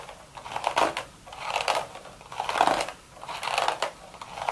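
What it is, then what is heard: Woven straw hat. Long, sharp red nails rapidly tap and scratch across the hollow, empty crown of a woven straw hat. Dry, crackling scratches rise and fall in roughly rhythmic swells about once a second, with a papery midrange texture and bright, hissy edges.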